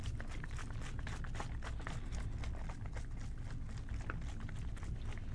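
An OxiClean plastic trigger spray bottle, medium size and hollow, is held in both hands and tapped with fingertips and short nails. It gives a steady stream of quick, soft taps over a deep, low hum, each tap bright, brief and dry.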